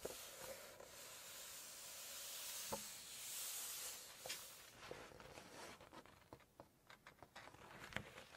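Hands rest on and rub the glossy spread of an open Chinese cookbook, making a soft, bright, hissy swishing that swells and fades over the first few seconds. Long nails then flip a page, adding quick sharp ticks and crisp paper flicks against a quieter background.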